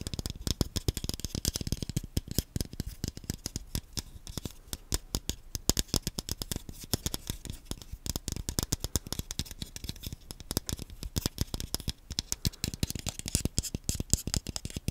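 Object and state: Plastic game controller tapped with fingernails.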